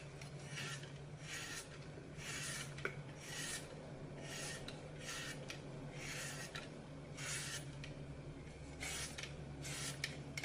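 A red-handled knife slices and crumbles the edge of a hand-sized, solid green floral foam brick with a glitter picture on top, held in one hand over a glass bowl. Repeated bright, raspy crunching and scraping bursts rise and fade throughout, over a steady low hum.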